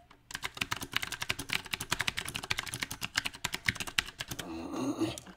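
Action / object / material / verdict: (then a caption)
tap / mechanical keyboard with round plastic keycaps / plastic / none. Fingertips of both hands type on a compact backlit mechanical keyboard with round plastic typewriter-style keycaps. A rapid, uneven run of sharp, bright clicks and clacks with very short decay fills most of the clip. It ends in a softer, continuous rustling noise.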